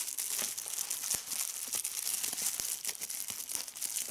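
A clear plastic bubble wrap sheet is pinched and squeezed between fingertips with red-painted nails, popping individual air bubbles and crinkling the film. A steady, dense, bright crackle runs throughout, punctuated by frequent sharp, short pops with almost no low end.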